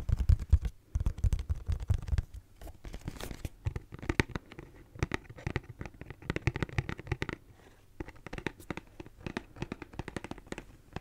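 A pink and purple Kleenex cardboard tissue box, cube-shaped and hollow, is held in both hands and scratched and tapped with long nails close to the mic. It starts with heavy, boomy low thumps and rough scratching for about two seconds, then turns to rapid, crisp, dry taps and scratches with short pauses. Each tap dies away almost instantly.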